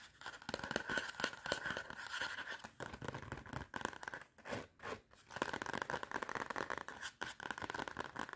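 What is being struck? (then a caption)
Cardboard spiral notepad cover. Long red nails scratch and tap the front and back cardboard covers of a clapperboard-design spiral notepad. The result is a dense run of dry, rapid scratching and clicking with a steady mid-pitched rasp and brief quieter pauses. The taps are too closely packed to count individually.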